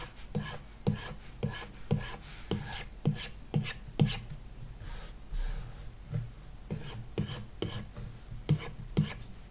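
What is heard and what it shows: A hard plastic stylus tip scratches back and forth in repeated shading strokes across the glass touchscreen of an iPad with a paper-like matte film, lying flat on a wooden desk. About fifteen short, raspy strokes come in a steady rhythm, each carrying a low, hollow tap from the tablet body under a bright, dry scratch. Each stroke stops almost instantly, with only brief, softer rubbing between them.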